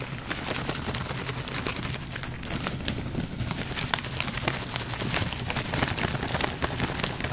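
A small printed plastic/foil snack pouch, hollow and partly full, is held up in one hand and crinkled and squeezed with the fingers. For about seven seconds it makes a steady, dense crinkling crackle of sharp, bright rustles over a low background hum, with no clear pauses.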